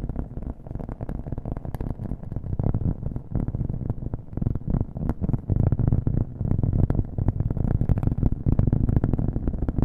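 A round, flat, thin cork coaster is held in the hand and tapped quickly with the fingernails, with an echo effect on the audio. The taps come in a fast, dense stream of dull, muffled knocks, heavy in the low end with almost no brightness, and grow slightly louder toward the end.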